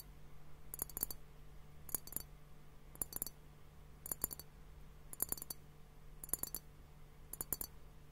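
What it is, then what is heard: Glass liquid-filled hourglass timer tapped. A clear glass hourglass-shaped liquid timer, hollow and partly filled with pink liquid and foam, is tapped with fingertips and nails on both bulbs. Seven short bursts of quick, bright clicking taps with a high glassy tick ring out over a steady low hum, and each tap dies away almost instantly.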